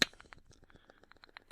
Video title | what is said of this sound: Ep 56 - Solace from the World! | you can hear the handle wobbling around on the inside but you know just running it back and forth there's hardly any movement